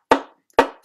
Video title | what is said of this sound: VSA Seminar Nov 12, 2021: Jim Woodhouse, Signature modes & formants: comparing stringed instruments | just flick the corner of the bridge and listen to that sound. As you compare instruments, it's always an interesting comparison